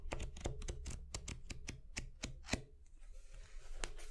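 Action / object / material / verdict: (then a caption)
flick / deck of paper playing cards / coated paper / none. A full deck of thin coated-paper playing cards, held in both hands over a wooden board, is riffled and shuffled with the fingertips, the cards flicking against each other. It makes a quick run of short, dry, bright flicks over a steady low rumble. The flicks fade into a softer rustle near the end, with one last sharp flick.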